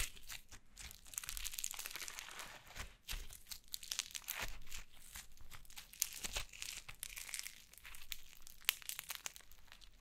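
Yellow foam slime is held in both hands, squeezed and pulled apart with the fingers. The result is soft, continuous crinkling and crunchy crackling with bright, sticky pops and brief tearing sounds, all at a low level.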